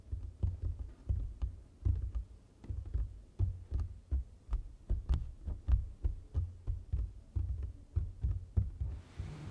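A hand with long nails taps the flat surface of a large printed foam board sign with its fingertips and nails, giving a steady run of soft, dull thuds. The taps are deep and muffled, close together with short decays and an occasional faint bright click. A soft hiss rises at the very end.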